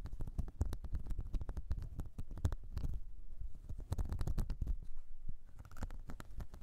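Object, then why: Silicone cleansing mat. A whale-shaped blue silicone makeup brush cleansing mat with a ridged surface is held upright while both hands scratch its ridges with long nails. The result is a rapid, dense stream of short, dry scratching clicks with a soft, low, rumbling body and almost no ring after each stroke.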